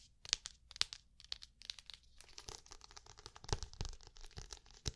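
Long painted nails tap and scratch across the smooth cover of a medium black hardcover notebook, held upright and closed. Quick, bright clicking taps mix with dry, crinkly scratching over a low background hum, with the sharpest taps standing out near the start and toward the end.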